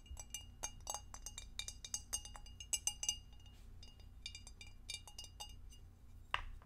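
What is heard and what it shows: Long acrylic nails tap the edges of a clear, empty, hollow rectangular glass food container with a divider, held in the hands and then set down on the table. Many quick, bright clinks and ticks fall in irregular bursts over a steady low hum. The sequence ends with a heavier knock as the dish is set down.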